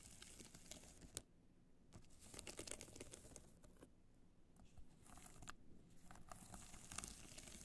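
Long nails scratch the face of a hollow black hard-shell clutch covered in multicolor rhinestones, held in both hands. The result is quiet, dry, crinkly scratching in uneven bursts, with sharp bright ticks as the nails catch on the stones, over a low steady background hum.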